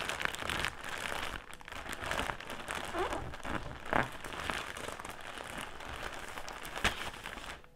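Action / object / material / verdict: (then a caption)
scrape / soft plastic drawstring bag filled with cotton pads / soft plastic / none. A soft, clear plastic drawstring bag filled with round cotton pads is crinkled by fingertips on a table, then lifted and squeezed in both hands. It gives a steady, dense crinkling and rustling with a bright edge, broken by a few sharper crackles around the middle and near the end before it fades out.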